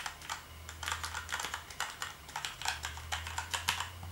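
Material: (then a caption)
Plastic. A hand types with its fingertips on a black plastic gaming keyboard, giving a rapid run of bright, clicky keystrokes. A steady low hum runs underneath the typing.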